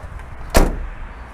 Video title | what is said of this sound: 한 집 건너 한 집이 스카니아 타던 그시절.. 왜 많이 팔렸는지 알겠네!! 2004년식 스카니아 HPI엔진 420마력 덤프트럭 살펴보기 ! - 외관편- | 이 문짝을 닫았을 때 소리를 한번 들어보시죠. 이 둔탁한 소리 들리십니까?